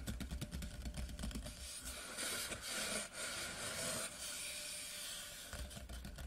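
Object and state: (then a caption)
Cardboard whisky tube. Fingertips and short nails of both hands rapidly tap the top surface of a large, hollow, white printed cardboard whisky tube lying horizontally. Quick, hollow taps with a low boomy body open and close the clip. In the middle the taps blur into a dense, bright, hiss-like rustle.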